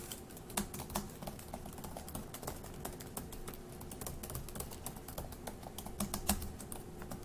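Fingertips of one hand type on the plastic chiclet keys of a dark grey, hollow-bodied laptop resting on a wooden table. A steady stream of quiet, short, dry clicks and taps plays throughout, with a few slightly louder keystrokes standing out.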